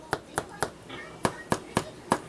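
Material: Bread.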